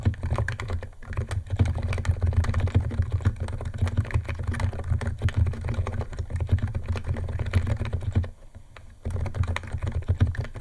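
Fingertips of both hands type fast on a white compact 68-key Niz ATOM 68 plastic mechanical keyboard with electro-capacitive switches, white plastic keycaps and a plastic case, resting on a wooden desk. Rapid, dense clacking keystrokes with a deep, thocky low end run nearly continuously, with a brief pause near the eight-second mark before typing resumes.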